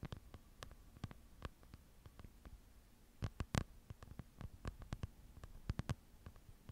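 Long nails scratch and tick against the paper pages of a small open book held in both hands. Quiet, sharp, dry clicks and brief scratches come at an uneven pace over a low, soft background, with a few louder taps near the middle and end.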